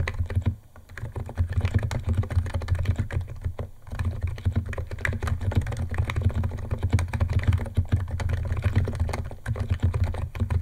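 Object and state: Plastic mechanical keyboard.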